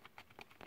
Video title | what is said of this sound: Growing Giant Redwoods Sequoias On My Windowsill pt1 | beginning to dry out on the top a little bit